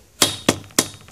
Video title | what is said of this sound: Ravelli Tripod Unboxing And Review - PR Tech Reviews | it actually is hollow uh if you like flick at it you can hear that it's Hollow